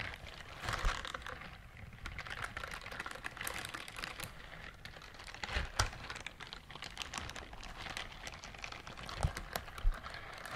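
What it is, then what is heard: Silicone scrubber glove. Long nails scratch a pink silicone bristled glove held close to the mic, making a steady stream of fast, crackly scratching and light tapping with bright clicky detail and a soft low rumble underneath. A few sharper, louder taps stand out in the patter.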